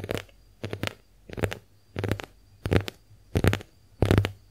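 Long acrylic nails tap and scratch a pink, heart-shaped porous konjac face sponge. The result is seven short bursts of soft, crackly, low scratching at an uneven pace, each separated by a brief pause.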